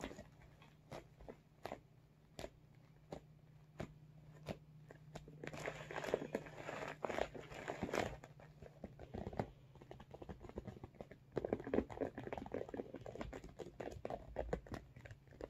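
Fingertips tap on the front and top of a medium blue holographic PVC/vinyl makeup bag, with some crinkling of the vinyl. Short, dry, sparse taps come first, then denser clusters of tapping and crinkly rustle rise and fall over a faint low steady hum.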